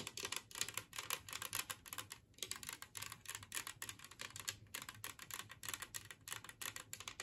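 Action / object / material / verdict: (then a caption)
tap / glazed ceramic plate / ceramic / none. Long fingernails on both hands rapidly tap a large, flat, green glazed ceramic plate shaped like a Christmas tree, lying empty on a wooden table. The result is a dense, quick patter of sharp, bright clicks with almost no ring.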